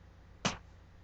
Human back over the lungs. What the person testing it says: I'm listening for resonance and that just means that there's air which there should be